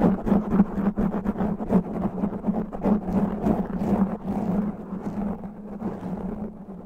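Both hands scratch fast and rough with natural fingernails across the top of a black foam windscreen covering a microphone head. The result is a dense run of crackling, rustling scratches over a steady low hum near 200 Hz, easing slightly in level toward the end.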